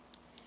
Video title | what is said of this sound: ♡ Tammy Taylor NAIL DESIGN VIDEO “DAZZLING DAISIES” | you can hear the sound when you tap the nail and you can hear the sound is that your nail is perfectly dry